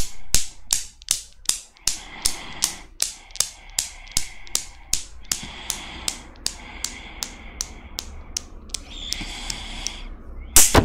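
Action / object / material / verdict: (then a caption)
knock / steel balls of a desktop Newton's cradle / steel / none. Long black-painted nails pull and release the five solid steel balls of a small desktop Newton's cradle on a chrome frame, so the balls knock against each other. About 27 sharp, bright metallic clicks come at a steady but slightly uneven pace, with a faint ringing tone around 2 kHz between them. A louder cluster of clicks ends the clip.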